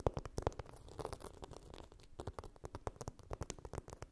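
A hand-sized, flat blue phone case coated in chunky glitter, probably fitted on a phone and lying on a fluffy blanket, is scratched and tapped with long pink nails. A quick, irregular run of short, dry taps mixes with gritty scratching rasps. The sound is quiet and dull, with most of its weight low and little brightness.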